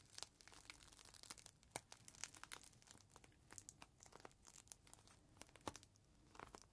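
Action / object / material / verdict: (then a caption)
shake / plastic zip bag holding a microfiber cloth / plastic / none. Fingers squeeze and handle a clear plastic zip bag with a folded green microfiber cloth inside, holding it flat and lifting it in the hands. The result is a quiet, continuous run of bright, crisp crinkles and sharp crackling snaps that stop almost instantly, with little low-end weight.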